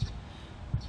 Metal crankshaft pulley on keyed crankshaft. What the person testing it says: if I were to go and shake it back and forth the pulley you hear that little little Notch